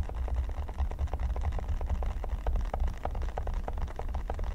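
Fingertips and nails scratch and tap on a flat, solid red silicone pyramid mat. A steady stream of quick, soft taps gives a dull low thump with short mid-range clicks, each dying away almost at once over a faint hiss.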